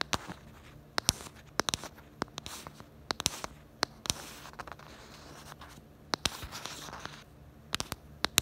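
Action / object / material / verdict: tap / hard plastic phone case / plastic / none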